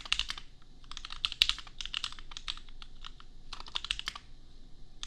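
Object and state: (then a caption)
Plastic mechanical keyboard. A $250 custom compact mechanical keyboard with Gateron Milky Yellow switches and red and pink plastic keycaps is typed on with the fingertips of both hands. Bursts of quick, bright, clacky keystrokes come in bunches, separated by short pauses. Each click is short and dry, over a faint low hum.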